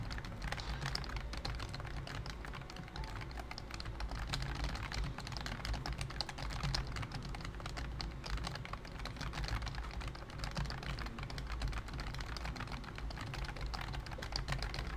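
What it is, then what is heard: Plastic computer keyboard being typed on. Fingertips type rapidly and steadily on a full-size pink plastic keyboard with a hollow plastic body, round white and cream typewriter-style keycaps, and a character figurine on top. Dense, short, bright clicks and clacks run continuously for the whole clip over a steady low rumble, with each keystroke dying away almost instantly.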